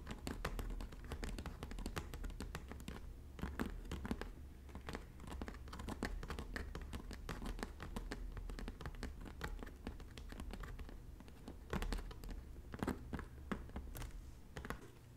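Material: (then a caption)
Straw. A medium-size red bag of braided, slightly shiny woven straw, likely hollow, is tapped lightly with long natural bare fingernails across its flat braided front. Quick, soft, dry clicks and scratchy taps come in a steady stream of dozens of hits over a low, muffled body, each dying away almost at once.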